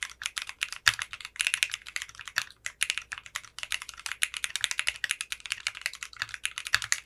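Continuous fingertip typing on a compact 60% mechanical keyboard with clear pink polycarbonate keycaps and a translucent case. It produces a rapid, steady stream of crisp, bright clacks that die away almost instantly, with almost no low end. A few keystrokes land noticeably louder than the rest.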